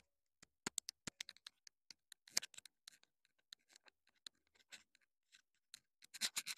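Long nails tap and scratch the hollow body of a small black plastic clip-on wireless mini microphone transmitter. Quick, dry clicks with no ring and brief scratchy rustles come in an irregular run, bright and high with almost no low end, ending in a denser burst of scratching.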